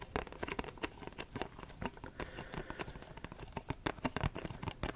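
A printed Versace perfume cardboard box, held in both hands, is tapped and scratched with short fingernails. The result is a quick, dense run of dry, soft taps with brief scratchy rustling between them, each hit dying away almost instantly.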